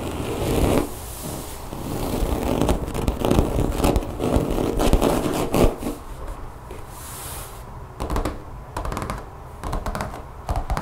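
Long fingernails scratch across a solid brown rubber mat with a fine grid texture, lying flat on a table. The result is dense, uneven scraping and scratching with rapid, irregular bursts, heavy in low tones and with quick, short decays.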